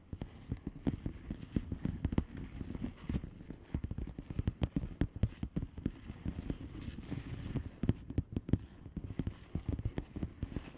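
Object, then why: Plastic bubble wrap envelope. Long nails tap rapidly on the bubbles of a flat blue plastic bubble wrap envelope. The result is a dense, uneven stream of short, dull, low-pitched taps with almost no ring and little high-end content.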